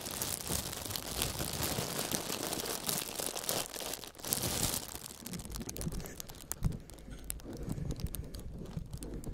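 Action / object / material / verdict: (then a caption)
scrape / clear plastic film sheet / plastic film / none. A large, crumpled sheet of clear plastic film is held flat over a foam panel while two fingerless-gloved hands press and rub it with their fingers. This makes a dense, bright crinkling that is loudest and fullest for the first few seconds. It then thins into sparser crackles and soft rustling.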